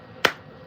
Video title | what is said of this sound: ❄️ SNOW Removal w/ the John Deere 2025R | when you hear that right there, like a baseball bat, that means it's dry.